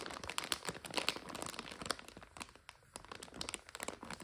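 A full plastic bag of dry egg noodles is turned and folded by both hands, crinkling the plastic. Dense, bright crinkles and sharp crackles come in rapid bursts. They are loudest in the first two seconds, then grow softer and sparser.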